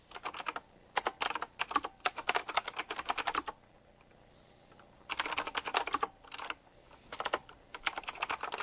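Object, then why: Mechanical keyboard with round plastic keycaps. Fingertips type on a retro typewriter-style mechanical keyboard with round plastic keycaps set in chrome rings. Rapid, bright, dry key clicks come in quick bursts, with a near-silent pause in the middle before fast typing resumes to the end.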